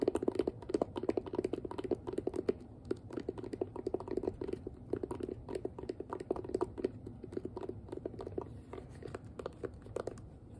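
Long nails rapidly tap and scratch the hollow shell of a hand-sized pink plastic detangling hairbrush. The result is a steady, dense stream of short, dry, hollow clicks centered in the mid-low range, with faint scratchy rustling between them. Each tap dies away almost instantly, and the flurry never pauses over the whole clip.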